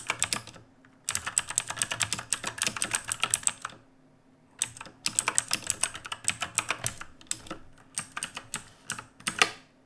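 Both hands type with their fingertips on the plastic keycaps of a black RGB mechanical keyboard resting on a wooden desk. The result is rapid, bright, sharp clicks and clacks in bursts, broken by short pauses of near silence around the 1-second and 4-second marks.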